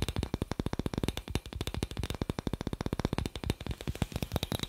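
A small, hollow, clear glass incandescent light bulb with a metal screw base is held in one hand while the fingertips and nails of the other hand tap and scratch its glass globe in front of the microphone. About forty quick, soft taps come in a steady rapid stream, each a dull, low-weighted knock that dies almost at once. A faint bright scratchy texture runs between them.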